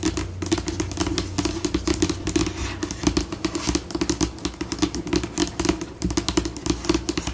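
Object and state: Laminate tabletop tapped and scratched with nails.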